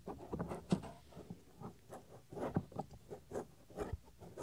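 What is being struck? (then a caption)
Silicone microphone ear cover. Fingernails and fingertips scratch the small, solid, white soft silicone ear cover on a 3Dio binaural microphone. The result is dull, close, low-heavy rubbing and scraping in irregular bursts, with several sharper scrapes standing out and little brightness.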